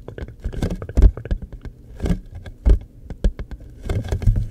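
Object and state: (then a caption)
Cardboard tissue box. Fingertips and nails tap and scratch rapidly across the surface of a hollow, floral-printed cardboard tissue box with a green top showing its dispensing opening. The result is a quick, irregular patter of dry taps and scratches with a low, hollow body and very short decay.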